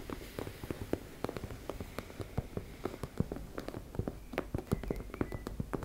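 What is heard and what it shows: Long nails tap and scratch rapidly on a teal embossed-fabric makeup bag, making a quick run of soft, dry, low thuds. Brief scratchy rustles sit between the taps, and each sound dies away at once.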